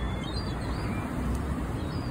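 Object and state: Nothing is struck.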